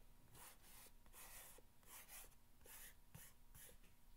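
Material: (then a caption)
Cardboard. A single fingernail scratches lines along the top of a long, hollow corrugated cardboard box. Repeated bright, raspy scratching strokes come in quick bursts, each with a dry, brief rub over a low, soft hollow undertone.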